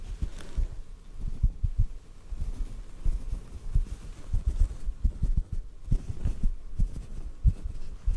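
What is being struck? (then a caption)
Cotton ball. A small white cotton ball held close to the microphone is gently tapped with fingertips. A series of soft, muffled low thumps sounds at an irregular pace, each dying away almost at once with no ring or brightness.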